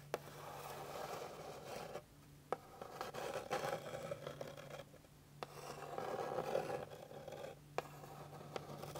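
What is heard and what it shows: Long pink-painted fingernails scratch across a flat, solid, light-colored wooden board with visible grain. Dry, raspy scraping comes in sustained passes separated by short pauses. Brief sharp clicks cut through, over a faint steady low hum.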